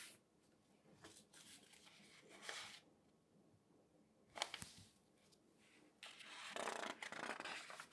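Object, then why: Newsprint newspaper section. An open section of thin newsprint newspaper lies flat while both hands turn a page and rub the sheets with fingertips. Soft, bright, papery rustles and crinkles come in uneven bursts, with a sharper crackle midway and a louder, sustained crinkling toward the end.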